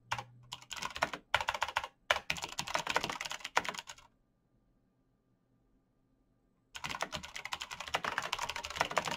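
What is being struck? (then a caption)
Plastic mechanical keyboard. Fingertips in fingerless knit gloves type fast on a black plastic mechanical gaming keyboard with clicky green switches, backlit keys and a hollow case. Bright, rapid clicking bursts run for about four seconds, then go silent for nearly three seconds. The typing resumes and continues to the end.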